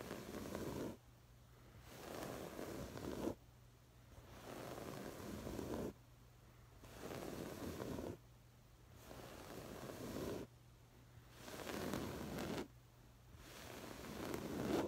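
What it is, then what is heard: Woven fabric cushion scratched. Fingertips and long nails scratch and rub the textured woven fabric of a soft, stuffed, patterned cushion. Seven bursts of dense, rough scratching, each about one to two seconds long, alternate with quieter pauses where only a faint low hum remains.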